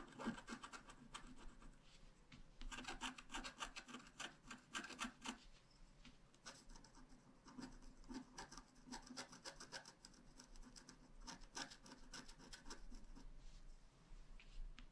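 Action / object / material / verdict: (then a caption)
scrape / wax-coated scratch-art card scratched with a wooden stylus / wax-coated card / none. A wooden stylus tip, held in the fingers, scratches a flat, black wax-coated scratch-art card about A5 size lying on a table while the other hand steadies the page. Quick, irregular strokes produce dry, bright raspy scratches in short bursts with pauses between them.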